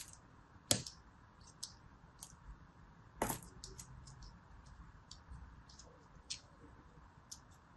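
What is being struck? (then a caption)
Kinetic sand block. A small, palm-sized piece of molded yellow kinetic sand, solid and held in the palm, is scored again and again with the tip of a thin metal blade. Crumbly cutting and scratching sounds come as short, bright, dry ticks and scrapes at an uneven pace, with two sharper, louder cuts standing out over a quiet, faint hiss.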